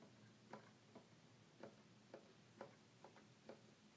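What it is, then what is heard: Plastic toy keyboard keys. Single fingertips tap the plastic keys of a hollow red plastic toy keyboard, producing a series of quiet, short, dry clicks with a hollow midrange tone. Each tap dies away almost instantly over a faint steady background hiss.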